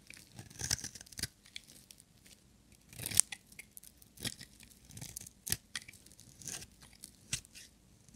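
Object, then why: Bar of soap shaved with a metal blade. A small, solid, orange translucent striped bar of dry soap is held in one hand and shaved with a metal utility-knife blade into thin strands. Quiet, dry, crisp scraping strokes come in a series of short, bright bursts with little low end and no ring, separated by brief near-silent pauses.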